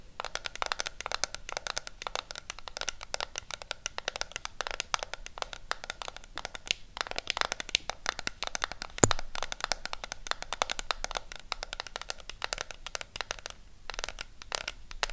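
Long pink nails rapidly tap and scratch a pink W7 Berried Treasure eyeshadow palette in a flat cardboard sleeve held in the hand. The result is a dense stream of crisp, dry clicks and scratchy rustles with very little ring, bright with some low thump, and one louder tap around nine seconds.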